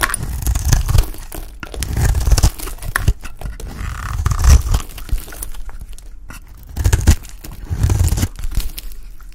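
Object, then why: Bar soap shaved with a knife blade. A hand-sized, solid cream-coloured bar of dry Palmolive soap is held in the hand and shaved with a utility knife blade, with flakes falling off. The knife makes repeated dry, crisp scraping and flaking strokes in a few louder bursts, with a heavy low thump under each pass and little ring after.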